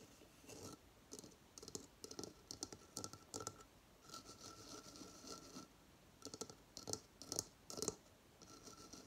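Long fingernails scratch the textured outer shell of a hollow coconut shell hamster hideout, which has paper bedding inside and stands upright on a table. Short, quiet bursts of bright, dry scratching come in quick clusters with brief pauses between them, while a faint steady tone hums underneath.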